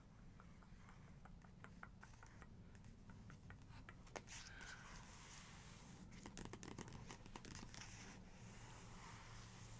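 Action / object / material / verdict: scrape / paper book page / paper / none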